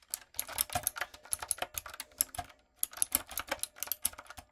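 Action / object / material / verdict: tap / plastic mechanical keyboard / plastic / none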